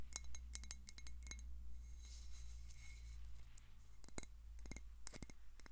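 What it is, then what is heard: Glass water bottle. A clear glass water bottle with a white plastic cap, partly filled with water, is tapped on the glass with long nails. Quick bursts of sharp, bright clicks with almost no ring come in clusters at the start and near the end. A steady low hum runs underneath throughout.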